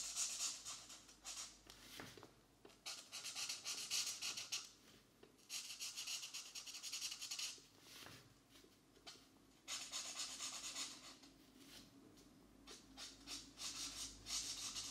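A marker tip rubs in short strokes across the thin paper page of an open coloring book resting on a desk mat, filling in a mandala pattern with the same marker throughout. The result is a soft, steady, bright scratchy hiss that comes in bursts of brisk, somewhat irregular strokes, with brief quiet pauses between passes.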